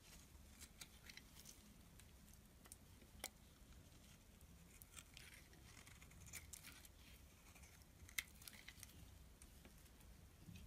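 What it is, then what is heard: Bar soap being scraped with a blade. A solid black and white striped bar soap is held in the hand while a metal blade repeatedly scrapes across its surface. Quiet, crisp, bright scraping ticks and short sharp catches recur over a soft low rumble.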